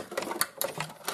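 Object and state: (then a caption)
Loose fuse rattling inside a DVD player. An opened DVD player is shaken, and a loose fuse that broke off its power supply rattles inside with five quick, bright clicks. The fuse is burnt out, with copper-coloured metal vapour on it.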